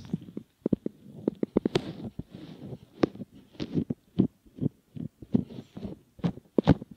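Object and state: Silicone ear model being rubbed.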